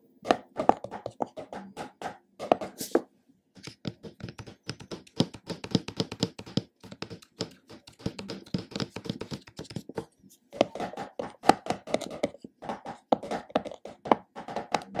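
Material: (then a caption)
Plastic. Fingertips and short nails tap the top of the black screw lid on a large plastic supplement tub and scratch across the lid surface. The result is rapid bursts of dry, hollow, mid-pitched taps that die away almost instantly, mixed with scratchy passages and broken by brief pauses.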